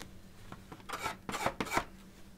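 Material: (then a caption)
Canvas. A metal palette knife with a wooden handle, held in the fingertips, scrapes and smears wet acrylic paint across a large, flat stretched cotton canvas that is hollow-backed on a wooden frame and lying on a table. Two faint scrapes are followed by three louder, raspy strokes with a bright, gritty texture, likely shaped by the wet paint layer. Each stroke stops quickly with almost no ring.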